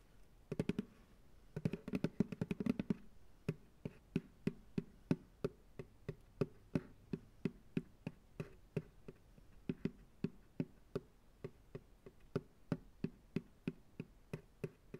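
Fingertips tap the base of a medium, hollow, empty white plastic ice cream pail resting upside down on a lap. Quick flurries of taps come first, then a steadier run of separate taps. Each is a short, hollow, dull knock with a low body around 170 Hz that dies away almost instantly.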